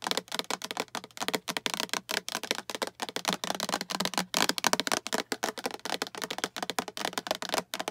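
Long acrylic nails tap and scratch quickly across the walls and lid of a small, hollow, translucent green plastic storage box with a latch handle that appears empty. The result is a dense run of sharp, bright plastic clicks and scrapes that die away almost instantly, with a hollow mid-range ring and almost no low end.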